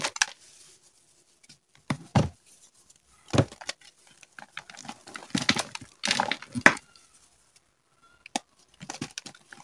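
Bare fingertips with painted nails squeeze, crumble and rub small solid blocks of yellow gym chalk (magnesium carbonate) in a white bowl with loose powder, crushing pieces that are the same material throughout. Short bursts of dry, bright crunching and crumbling come in uneven clusters, separated by near-silent pauses.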